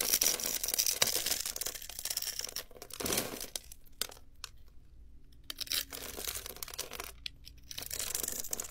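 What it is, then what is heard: Bar soap being carved. A metal utility knife blade scrapes and carves a grid into the surface of a solid, hand-sized blue bar of soap with an embossed logo, held in one hand, flaking off small cubes. The sound is a dense run of bright, crackly scratching and crisp tearing, with louder bursts near the start and quieter, sparser scraping in between.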